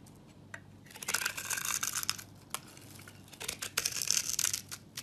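A metal knife blade shaves and scrapes a hand-held, solid, rectangular brown soap bar with a textured surface, curling off thin chips. Dry, bright, crackling scrapes come in two main bursts separated by a quieter pause, with a few sharp isolated ticks in between.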